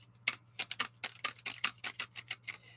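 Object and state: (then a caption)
Thick-paged handmade book with a plastic-like clack. The thick glued paper pages of a handmade chunky book, bound with an overhand or Coptic stitch, are flipped and clacked together, producing 13 sharp, bright ticks that stop almost instantly over a faint low hum. The result is a plastic-like clacking, the sound the maker wanted when copying a friend's book.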